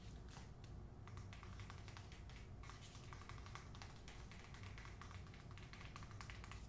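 Long nails tap on the front cover of a hardcover book, *The Man Who Could Move Clouds*, which has a paper dust jacket. The result is a quiet, steady run of quick, light, bright clicks. A constant low hum sits underneath.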